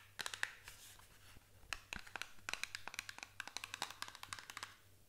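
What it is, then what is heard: Small cardboard box tapped with nails. Long nails tap and scratch the sides of a small printed paperboard box, giving about 25 quick, dry, bright clicks with almost no ring, some bunched into fast flurries and some with a light scraping hiss. A faint steady low hum runs underneath.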